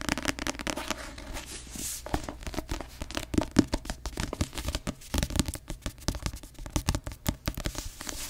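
Long acrylic nails tap rapidly on the glossy paper cover of a paperback novel held in both hands, its solid paper block beneath. The result is a dense run of quick, dry, clicky taps with a papery, slightly crinkly edge and a soft low-mid body, each tap dying away almost instantly.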